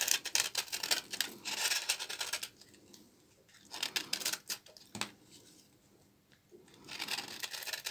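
A small knife blade scrapes along the fibrous edge of a solid, partly carved bar of dry, old laundry soap held in the hand, shaving off dry flakes. The sound is bright, crisp scratching and rasping, with no low end. It comes in three bursts separated by two near-silent pauses.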